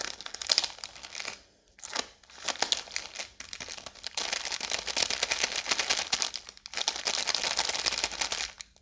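A full Oreo biscuit roll in a blue plastic wrapper is held upright and quickly tapped and scratched with long yellow nails. The wrapper gives a dense, bright crinkling and crackling with rapid ticks, broken by brief pauses near 1.5 and 6.6 seconds. The sound is dry with no ring and almost nothing in the low end.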